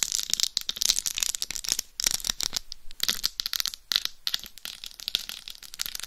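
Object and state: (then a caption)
Rhinestone-covered dummy head microphone. Long pale nails scratch and tap across the rhinestone-encrusted face of a hollow, life-size dummy head microphone. The sound is a dense run of bright, crisp clicks and gritty scrapes with very little low end, each tick dying away almost instantly, with brief pauses between bursts.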